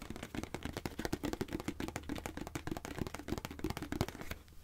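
Fingernails tap rapidly on a hand-sized, hollow white plastic face-wash squeeze tube, giving a fast run of short, dry clicks with almost no ring. A hollow low-mid tone sits under the taps, along with a steady low hum.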